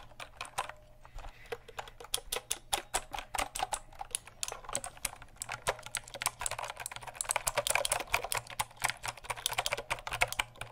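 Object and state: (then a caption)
Plastic mechanical keyboard. Fingertips tap fast on the keycaps of a full-size black plastic mechanical keyboard with RGB backlit keys and a hollow case, held up beside and in front of the mic. Rapid, sharp, bright clicky taps with very short decay run throughout, growing denser and louder in the second half over a faint steady low hum.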